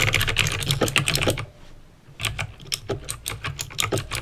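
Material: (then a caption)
Plastic. Fingertips with painted nails type on a backlit plastic mechanical keyboard with clicky green switches, producing rapid, bright, sharp clicks over a low thud. A brief pause falls around the middle of the clip before an uneven burst of keystrokes resumes.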